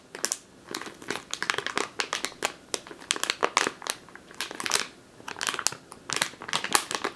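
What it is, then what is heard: Plastic bag of flour, crinkled. Long teal nails crinkle and squeeze a medium clear plastic bag with a purple label, full of flour or grain. Dense bursts of bright, crackly crinkling come in quick clusters with brief pauses between them. Each crackle stops almost at once, with no low rumble underneath.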